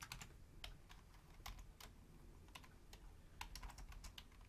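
Long fingernails type on a full-size black plastic Logitech membrane keyboard with a hollow housing, one hand reaching over to the numeric keypad. Quiet, irregular clicky key taps with bright tips ring briefly over a steady low rumble.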